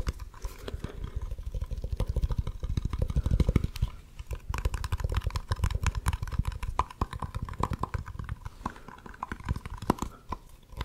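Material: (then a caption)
Plastic. Fingertips and nails tap and scratch a small cylindrical plastic jar with a blue-and-red lid and a barcode label, held beside the mic. The result is a continuous run of rapid, dry, muffled taps with short scratchy strokes; each tap is heavy in low thump and dies away almost instantly.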